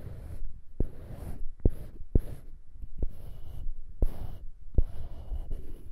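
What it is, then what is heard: Small wooden cube scratched with fingernails. Fingertips and nails scratch a small, solid light-wood cube on a polished dark-wood handle, held above foam-covered microphones. A soft, low, rumbling scratch runs throughout, broken by six sharp, short taps that die away almost instantly.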